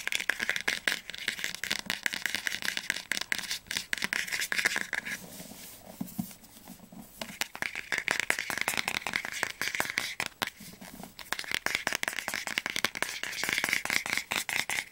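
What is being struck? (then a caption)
Hardcover book spine. Fingernails rapidly tap and scratch the glossy spine of the solid orange hardcover book "Flammender Zorn," with its embossed gold lettering, first held upright and then turned sideways. The dense, crisp clicks are bright and dry, with almost no low end. Softer scratching fills quieter stretches around 5 to 7.5 seconds and again near 11 seconds.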